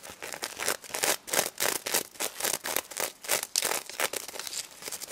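Long red nails quickly scratch the gold and pink sequins on a stuffed plush pig toy. The result is a fast, uneven run of bright, crinkly rasping strokes with almost no low end. Each burst cuts off sharply with no ring.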